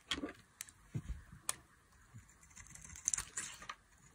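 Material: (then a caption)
Soap. A solid oval bar of dry purple embossed soap, held in the hand, is shaved with a metal blade into chunky flakes. Short, bright scraping and cutting crackles come in quick, dry bursts with no ring. A few soft low thuds sit between them.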